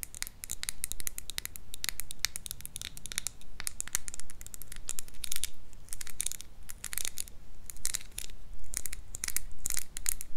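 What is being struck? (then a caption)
Small plastic case filled with beads. Long nails scratch and tap the surface of a small, hollow, clear pink plastic donut-shaped case filled with colorful beads. The result is a dense, irregular stream of bright, crisp clicks and scratchy scrapes over a low background rumble, with each tap dying away quickly.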